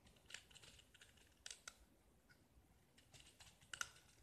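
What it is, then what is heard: Painted gypsum disc being scraped. A small, solid gypsum plaster disc painted blue is held in the fingers and scraped with a metal utility knife blade, shaving off white curls. Quiet, bright, dry scratching comes in short bursts, with a few sharper crisp clicks standing out over a faint low background hiss.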